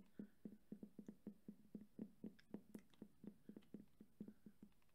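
A red JBL cylindrical portable speaker, hollow with a fabric grille over plastic, is held upright in one hand while the fingertips of the other hand tap rapidly on and around its rubber end cap. The result is a quiet, fast, slightly uneven run of short, dull, low thumps centered near 200 Hz, each dying away almost at once.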